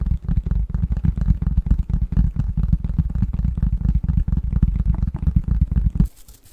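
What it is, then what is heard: Cardboard box lid. Fingernails scratch and tap the flat face of a printed cardboard box lid with a Christmas pattern, held upright. A dense, rapid run of dull, low, papery taps and scratches continues for about six seconds, then stops abruptly, leaving a faint high hiss.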